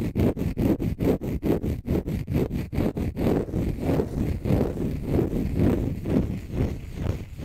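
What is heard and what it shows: A small, light green, dry, porous konjac sponge puff is held in both hands close up and scratched with short fingernails and fingertips. A quick run of sharply separated, low, rough scratching strokes gives way after about three seconds to denser, continuous rustling scrapes.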